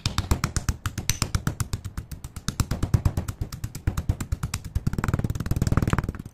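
Small, solid chunks of broken grey chalk or slate pencil sit in a white-grey stone mortar on a blue mat, and a hand with long painted nails pounds and grinds them with a stone pestle. It makes a rapid, steady series of short, dull, low thuds with brief bright clicks, turning to denser grinding near the end. The chunks are crushed into smaller fragments.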